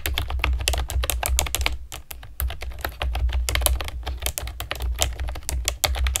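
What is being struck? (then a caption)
Plastic keyboard with round keycaps. Long nails and fingertips type rapidly on a pastel plastic keyboard with round keycaps. They make a dense stream of short, bright clicks and clacks over a steady low rumble, with a brief pause near the two-second mark before the typing resumes. Each keystroke is crisp and dies away almost instantly.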